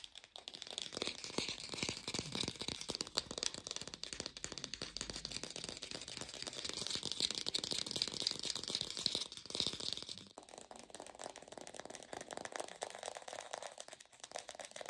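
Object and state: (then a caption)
Fake plastic pear. An artificial plastic pear is tapped fast with a lo-fi recording, giving a dense, dry, rattling stream of short, bright clicks with almost no low end. The tapping runs steadily, dips briefly around ten seconds, then continues slightly softer to the end.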